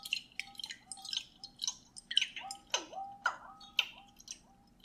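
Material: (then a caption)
Glass. A clear glass mason jar with a metal lid, mostly empty, is held up and tapped with the fingernails in a quick, uneven run of bright, sharp taps. Each tap gives a crisp click around 3 kHz, and several leave short glassy tones that bend downward like water drops. The sound is quiet and gentle.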